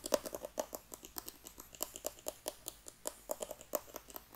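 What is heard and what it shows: Long dark-painted nails tap and scratch a small, hollow, black rigid cardboard iPhone box held close to the microphone. About 28 quick, dry clicks land in an uneven rhythm, each with a hollow knock near 600 Hz and a bright, crisp edge. The clicks die away almost instantly, with faint scratching between them.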